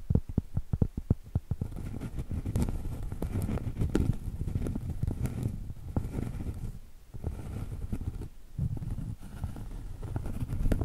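Long acrylic nails tap and scratch the top edge and surface of a round solid cork trivet held edge-on. A quick run of dull, muffled taps opens the clip, then gives way to steady low, scratchy rubbing with brief pauses. The sound stays deep and soft, with almost no bright content.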